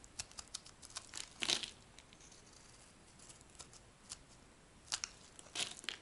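A metal blade shaves a light green rectangular bar of dry solid soap, peeling off thin sheets. Quiet, crisp scraping and crackling bursts come in irregular clusters, mostly bright and high with almost no low end. Each burst cuts off dry with no ring.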